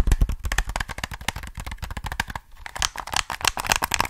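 Fingertips tap and click the buttons of a black, hollow plastic PS3 game controller held close to the mic. A rapid, uneven stream of short, dry plastic clicks and taps, each with a soft low thump and a brighter click on top, stops almost instantly with no ring.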